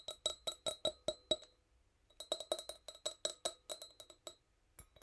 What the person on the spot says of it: Fast but gentle nail tappings. Tiny wine glass sound.